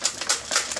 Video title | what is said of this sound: Garrison Auto Glass Distributers | hear that noise means glass debris or whatever is in it